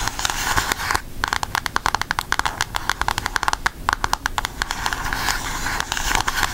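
Long acrylic nails tap and scratch the front cover of a flat, rectangular, book-sized cardboard eyeshadow palette with a pink Aristocats cover, held up in both hands. Rapid, dry clicky taps with almost no ring come in uneven bursts, centered around 1 kHz, and a brief pause near the one-second mark. Soft, bright scratching fills the gaps over a faint low rumble.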